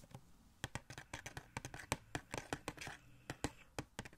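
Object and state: Cardboard toy box with plastic window.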